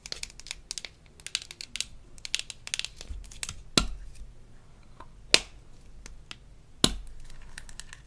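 Long nails tap and scratch a small hollow pink plastic toy floss case from a Melissa & Doug Super Smile Dentist Kit. Quick, bright, dry clicks and scratchy crinkling patter along unevenly. Three louder, sharper taps stand out near the middle and end.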